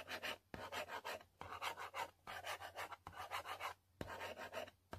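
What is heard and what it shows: A long pointed nail scratches back and forth over the printed text area of a yellow cardboard selfie stick box. It makes repeated bursts of dry, raspy scratching with bright, hissy texture, each burst starting with a soft low tap. Short pauses separate the bursts.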